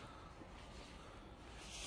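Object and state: Nothing is struck.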